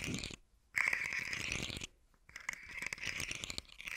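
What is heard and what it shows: A hand-sized rainbow fidget slug toy with hollow, segmented hard-plastic sections is held in one hand and scratched and tapped with fingertips and nails, making the segments click. Dense, bright scratching and rapid clicking centered around 2 kHz comes in three bursts separated by short near-silent pauses, with the longest stretch at the end.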